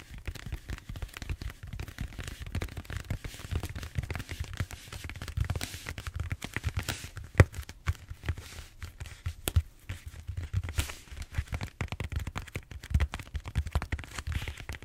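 Fingertips and short nails scratch and squeeze the textured surface of a large, solid purple foam back roller held horizontally. The result is a steady stream of dense, dry crackling and rubbing scratches with a soft low rumble underneath, punctuated by a few sharper snaps.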